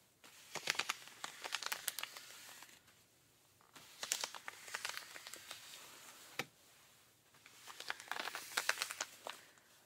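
Rubber-gloved fingers scratch the thigh and knee of ripped denim jeans, with the knee raised at times. Three bouts of bright, crinkly scratching with sharp rasping strokes are separated by brief quiet pauses.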